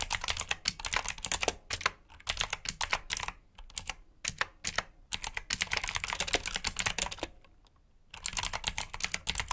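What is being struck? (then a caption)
Plastic mechanical keyboard. Fingertips type on a black plastic mechanical keyboard with blue switches, producing rapid, bright, clicky keystrokes in bursts. Brief pauses separate the bursts, and each click is sharp and dies away almost instantly.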